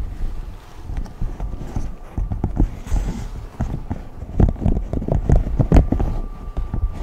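A large rainbow silicone pop-it sheet with hollow bubbles is held up and tapped and scratched with fingertips and short nails. It gives a busy run of soft, dull, low thumps that die away almost instantly, with faint rustling scratches between them and a slight steady hum underneath.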